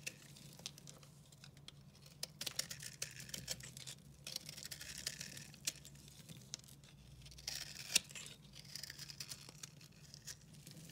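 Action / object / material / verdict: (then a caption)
scrape / soap bar carved with a knife / soap / none. A utility knife carves into a solid, dry, recycled soap bar speckled green and purple, and flakes crumble off. Quiet, bright scraping and crumbling sounds run throughout, with many short, sharp clicks and snaps standing out above a low, steady background hum.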